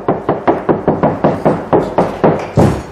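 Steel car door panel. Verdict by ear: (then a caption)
Resonant. A steel car door panel is knocked on repeatedly by hand during a sound-deadening job, giving a rapid, even series of hollow, resonant knocks that ring briefly after each hit. The sheet metal still sounds echoey and resonant, so the door needs more deadening material.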